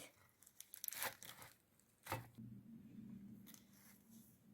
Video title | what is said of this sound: BÖREKLERİNİZİ BU ŞEKİLDE YAPIN❗️HEM PRATİK HEM ÇITIR ÇITIR SADECE 3 MALZEMEYLE 1 TEPSİ DOLUSU BÖREK | صدای کرنش رو شنیدیم ببین چطوره میبینی که داره پوسته پوسته میشه